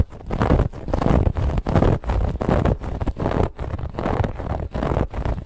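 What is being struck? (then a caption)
Stuffed woven fabric pillow. Long nails of both hands scratch a soft, stuffed white fabric pillow with a woven textured band. The result is a steady run of rough, rustling scratch strokes, heavy in low rumble and dull rather than bright. Each stroke swells and drops in quick succession without pause.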